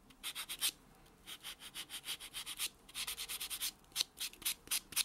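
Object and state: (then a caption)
Fingernail buffed with a foam buffer block. A white solid foam buffer block is rubbed back and forth on a natural fingernail, giving quick, dry, bright swishing strokes in rhythmic bursts with short pauses between runs. The sound is almost entirely high-pitched hiss with no low end and no ring after each stroke.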